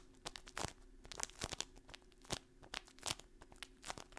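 A kraft paper stand-up pouch with a window and dried contents is crinkled and scratched with long painted nails. Sharp, bright crackles and scratchy rustles come in quick bursts, each stopping almost instantly, over a faint steady low hum.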